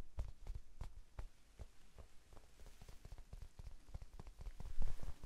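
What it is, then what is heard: Foam sponge tapped. A small, rectangular pink foam sponge, soft and solid, is held in both hands in front of the face and tapped with the fingertips. The taps are quick, soft, dull low thumps with no ring, growing a little louder toward the end.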